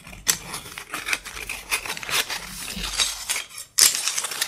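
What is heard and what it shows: A handful of thin, solid, light-colored wooden sticks, chopsticks or skewers, is held close to the mic and tapped and rubbed by fingertips and short lilac-painted nails. Irregular bright clicks and dry rustling scrapes come in quick succession, then a brief near-silence gives way to a sharper, louder burst of clattering taps at the end.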